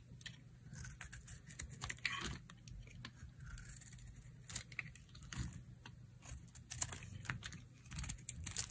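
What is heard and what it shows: A solid, dry, pale pink rectangular bar of soap is held in the hand and shaved and carved with a utility knife blade. Many quick, crisp scraping and snapping cuts follow one another over a low steady hum, each bright and dry with almost no ring.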